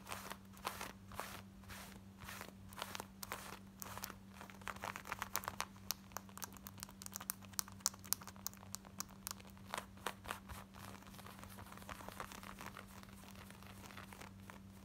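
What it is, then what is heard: Cotton denim jeans scratched. Long nails scratch quickly along the button waistband and front of light-wash, distressed cotton denim jeans with a ripped thigh. The result is a dense run of dry, bright, crunchy scratching strokes with sharp crackly peaks, over a steady low hum.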